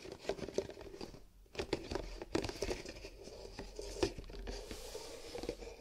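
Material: Paper.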